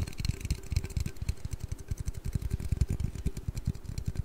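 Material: Aluminium.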